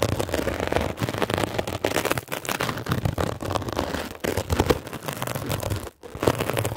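A metal ear pick is scratched rapidly across a blue mesh-covered foam scrub sponge, producing a dense run of rough, crackling scrapes with broadband texture. A brief near-silent gap falls shortly before the scratching resumes near the end.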